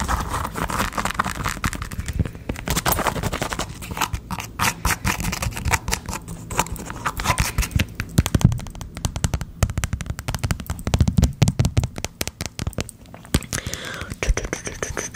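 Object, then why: Sneaker with hollow plastic air-cushion heel. Long acrylic nails rapidly tap and scratch the translucent orange-pink hollow plastic air-cushion heel and white mesh upper of a Nike Air Max 270 sneaker held close to the mic. The result is a dense, continuous stream of dry, crackly clicks and scrapes with a hollow, low thumping body around 125 Hz. Each tap dies away almost instantly.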